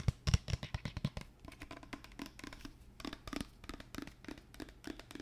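Long fingernails tap and scratch the label and sides of a large white plastic lotion bottle with a pump top, hollow-sounding and apparently full, as it is tilted and turned in the hands. A rapid, irregular run of short, dry taps and scrapes follows, with a few louder, low thuds at the start giving way to lighter ticking and scratching.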